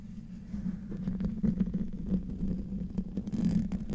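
Short-to-medium nails and fingertips scratch and tap across the hollow metal mesh grille of a silver Blue Yeti microphone. The result is a low, rumbling, close-up scrape with a steady hum-like tone and quick, uneven crackling taps over four seconds.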